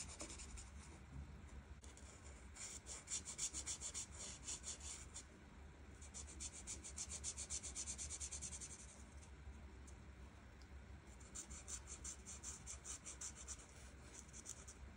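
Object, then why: Felt-tip marker on a paper colouring page. A hand with long red nails rubs the felt tip of a plastic art marker over a flat paper coloring page in quick back-and-forth strokes. The result is bright, scratchy rasping that comes in bursts with short pauses between them, over a steady low hum.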